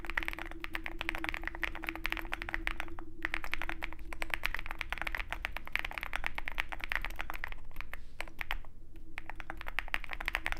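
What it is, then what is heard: Mechanical keyboard with PBT keycaps. Continuous fast typing on a compact 65% mechanical keyboard with a dark case and white PBT keycaps, struck with the fingertips of both hands. Dense, crisp clacks with a bright click run steadily over a low hum, pausing only briefly a few times.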